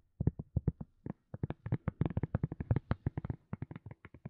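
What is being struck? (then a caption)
Silicone cup lid. Long nails tap and scratch a round white silicone cup lid, thin and hollow underneath, in a quick run of about 26 soft taps. Each is a dull, low, muffled thump with almost no ring, and the taps come in an uneven, rhythmic pattern with brief pauses.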